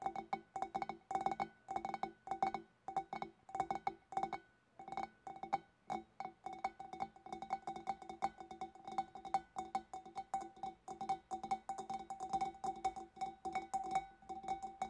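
Long nails tap rapidly on the sides and neck of a large, empty, hollow clear glass fish bowl while fingertips press its front. The result is a dense stream of short, bright clinks with a steady glassy ring around 770 Hz, broken by a brief pause near the five-second mark.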